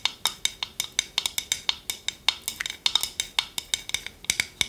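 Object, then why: Small wooden bowl with a wooden spoon. Long nails tap and scratch a small, hollow, round, empty wooden bowl with a wooden spoon resting in it. About 29 quick, dry, bright clicks sound in an uneven rhythm, each dying away almost at once, with a faint tone near 3.7 kHz and almost no low end.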